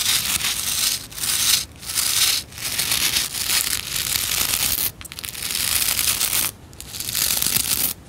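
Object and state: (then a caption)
Plastic scrub brush bristles. Long nails scratch and strum through the bristle rows of a white plastic scrub brush. The result is a bright, dense, hissy scratching with almost no low end, coming in sustained strokes separated by brief quiet dips.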